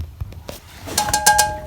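A 6 litre water "dual sapphire" metal fire extinguisher, made in 2013 and removed from a building being demolished, is tapped five times where it stands in a summerhouse. Each tap gives a short, hollow metallic ping with a clear ringing tone near 840 Hz and bright overtones that fade quickly. The hollow sound of the tapping shows the extinguisher is empty.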